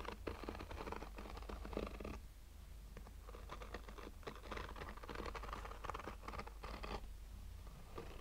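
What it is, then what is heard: Fabric-covered hard-shell sunglasses case, scratched. Short fingernails slowly scratch a black, oval, textured fabric-covered sunglasses case with a hollow, rigid hard shell. The result is a dense, dry, scratchy rasping patter in bursts over a steady low hum, with quieter lulls around the two-second mark and near the seven-second mark.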